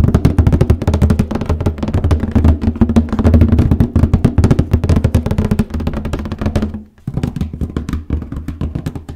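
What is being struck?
Cardboard box.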